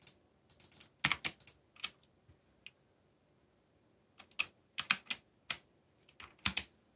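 Fast fingertip typing on a backlit mechanical keyboard with black plastic keycaps and a yellow backlight. Bright, short clicky keystrokes arrive in irregular bursts separated by brief quiet pauses, each click dying away almost instantly.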